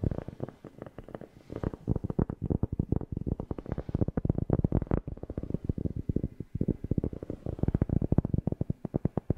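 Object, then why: Cork. A cork object is tapped rapidly right next to a FIFINE K690 microphone, producing a dense, steady run of short, deep, bassy thumps. Each tap is dry and muffled, with almost no ring and little high end.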